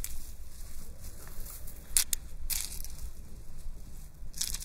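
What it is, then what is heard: Metal chain epaulette rattled. A gold metal chain epaulette (pauldron) with a rhinestone plate is held by the top while long painted nails run through the metal chain fringe and over the rhinestone plate. The chains give soft, bright, clinking rattles with a few sharper jingles over a quiet, low background rumble.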